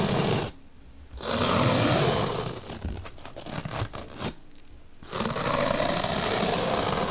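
A bottle brush is poked into and scraped along a slit in a large, solid white melamine foam magic eraser block. Bursts of loud, broadband, rasping scrapes alternate with short silent pauses, and a softer stretch of scratchy prodding sits in the middle.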